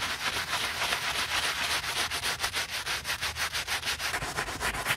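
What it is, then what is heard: Knit fabric sneaker upper being brushed. A wooden-handled bristle brush scrubs soapy foam into the perforated knit fabric upper of a white Adidas Yeezy Boost 350 sneaker during cleaning. Quick back-and-forth strokes give a steady, bright scratchy rubbing with a rapid rhythmic pulse.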